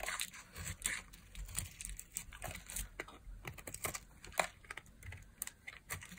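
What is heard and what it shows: A metal blade shaves long curls from a solid, dry, beige oval bar of soap held in one hand with long nails visible. The result is a steady run of quick, dry scraping and crisp cutting crackles, bright and brittle with little ring, over a faint low background rumble.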